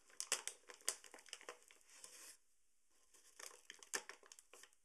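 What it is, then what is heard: Paper sugar bag being crinkled. A tall, partly full paper sugar bag is gripped and crinkled by hand at the top and along the side. Crisp, bright crinkling comes in quick, irregular bursts, then stops for a near-silent pause before a second run of crackles.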